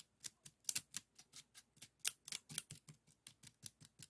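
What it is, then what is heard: Woven bamboo scoop, empty. An empty, small, hollow woven bamboo-strip bokjori scoop is held by the fingertips and scratched along its weave with a bamboo stick. It makes a quick run of short, dry, bright rasping strokes, each cutting off almost at once, with very little low end.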